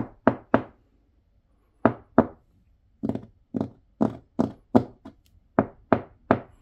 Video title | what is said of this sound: 일본 목조주택, 건물 벽이 플라스틱이라면 믿겠습니까 (신작가) | 통통 소리가 납니다. 안이 텅 비어 있는 그러한 느낌이 납니다.